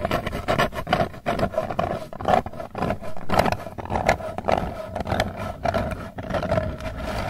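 Long nails scratch the lid surface and rim of a round, hollow Hershey's Kisses metal candy tin. The result is a continuous run of rapid, raspy scraping strokes over a low rumble, with a steady metallic ring near 630 Hz from the hollow tin.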